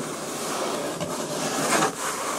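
Long nails tap and scratch across the top surface and tape of a medium, closed, hollow corrugated cardboard shipping box. A steady dry, papery scratching hiss fills the clip, with a slightly louder rasping swell near the end.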